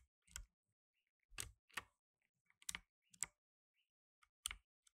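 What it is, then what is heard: Plastic mechanical keyboard. Blue nitrile-gloved fingertips type on the plastic keycaps of a black tenkeyless mechanical keyboard. The result is sharp, bright clicks that die away almost instantly, spaced irregularly with short quiet pauses and a few softer taps between them.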